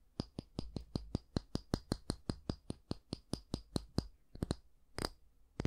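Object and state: Wooden hair brush back.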